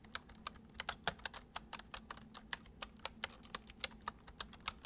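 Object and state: Plastic computer keyboard being typed on.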